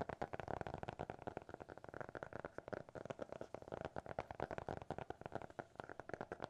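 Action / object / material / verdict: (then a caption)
tap / hardcover notebook cover / cardboard / none. Fingertips and nails rapidly tap and scratch the cover of a small, closed, solid black hardcover notebook with a TikTok logo. The result is a dense run of quick, dry, hollow taps with a mid-range tone around 400 Hz, each dying away almost instantly, mixed with soft scratching.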